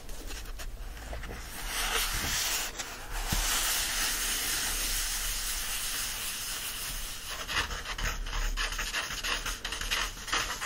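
Fingertips scratch the glossy card cover of a closed yellow paperback book, then the book is opened and fingers and palms rub across its paper pages. The sound is a steady, bright, hissing friction with soft irregular scratchy bursts and a low hum underneath, and no tapping.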